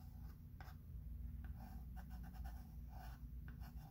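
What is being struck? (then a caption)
Chalk pencil on a framed chalkboard. A chalk pencil held in the fingertips is rubbed and scratched across a medium, flat, solid chalkboard in a thin wooden frame while writing letters. Soft, dry scratching strokes come in short bursts over a steady low hum, staying quiet throughout.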